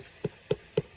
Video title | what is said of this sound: Repairs on the first floor deck! | When you tap it, it's rotten on the underside.